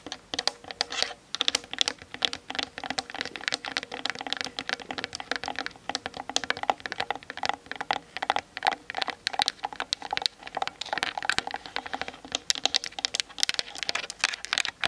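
Long nails tap rapidly on the sides and top of a Canon DSLR with a plastic body. The result is a fast, continuous patter of crisp, bright clicks with a hollow plastic tone and no low-end weight, each tap dying away almost instantly.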